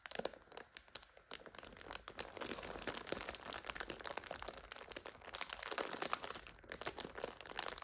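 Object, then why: Plastic wrapper of an instant noodle multipack. A full plastic multipack of instant noodles standing on its end is pressed and crinkled by hands, while nails scratch across its red wrapper and the clear packets inside. The result is a steady stream of dense, bright crackling and crinkling with many quick, sharp rustles and almost no low end.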